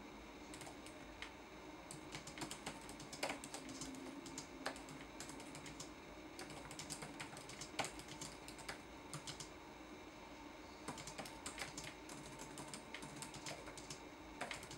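Fingertips tap the plastic keys of a red-backlit laptop keyboard in a steady typing rhythm. Quick, bright clicks come in bursts with short pauses, over a quiet, steady background hiss.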